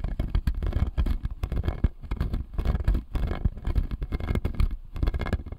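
Fingernails tap and scratch the blue resin molars on the lower arch of a clear acrylic jaw model, a plastic dental model. Dense, quick clicks and scrapes follow one another without a break, heavy in the low end, and each tap stops dead with no ring.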